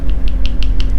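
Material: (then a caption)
Plastic, steel. A plastic dropper paint bottle with a 4.75 mm stainless steel mixing ball inside is shaken, and the ball rattles back and forth in quick, bright clicks over a steady low hum. The rattle shows the ball is in the bottle and will mix the paint.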